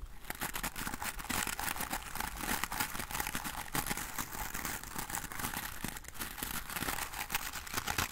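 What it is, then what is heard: Bristle hairbrush, bristles scratched. A wooden-framed hairbrush with dense black natural bristles is scratched and strummed with fingertips and nails. This makes a steady run of fast, dry, bright crackling scratches with short rasping bursts.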